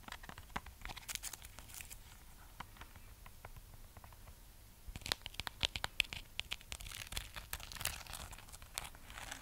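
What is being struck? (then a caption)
Wax-coated amaryllis bulb. Long manicured nails scratch and tap the glittery red wax shell of a hand-sized amaryllis bulb, a solid wax-sealed bulb with a green shoot, set on a metal wire stand. Quiet, dry, crackly scratching is punctuated by sharp, bright clicks with almost no ring. The tapping grows denser and louder about halfway through.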